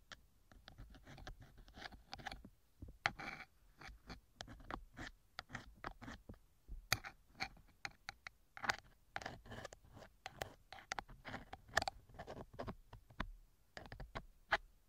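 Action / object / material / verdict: scrape / silicone ear cover of a microphone, scraped with a metal ear pick / silicone / none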